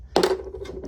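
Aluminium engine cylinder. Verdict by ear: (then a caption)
Cracked. A cracked aluminum engine cylinder from a YZ450F, destroyed by a connecting rod failure, is tapped and gives two quick metallic clinks with a ringing tone near 380 Hz. The cylinder was still cracked, and a piece of its bottom half breaks away.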